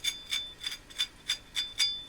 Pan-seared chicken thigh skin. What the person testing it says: Ese sonido crujiente es un indicador de que está lista.